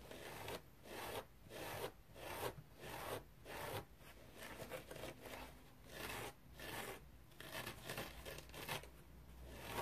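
Fingernails scratch a dry teal foam bath sponge with a rope loop, giving quiet, raspy, broadband strokes with a bright hiss. The strokes come in an irregular run of short bursts, each dying away almost at once, over a faint low rumble.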